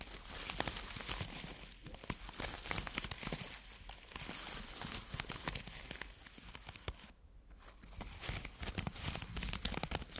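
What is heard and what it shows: Long natural nails scratch and rub a hand-sized orange ball of soft silicone or rubber covered in flexible spikes. The result is a dense, continuous run of crackly, bright scratching and rubbing clicks over a soft low rumble, easing briefly around the seventh second before picking back up.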